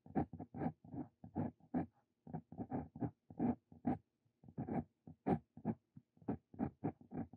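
A Brause Cito Fein steel dip pen nib writes Korean text on a lined paper sheet. It makes a quiet, rapid series of short scratchy strokes with brief pauses between them, each a dry rasp with a low hum near 230 Hz and little high-end brightness.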